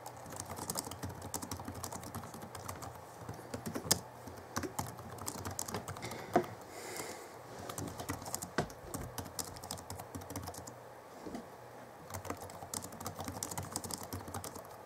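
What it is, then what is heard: Plastic laptop keyboard. Fingertips of both hands type steadily on the plastic keys of a 2011 Alienware M11x2 laptop keyboard. A quiet, continuous stream of short, dry clicks and clacks with a bright edge comes through, with a few sharper, louder keystrokes standing out. Each tap dies away almost instantly.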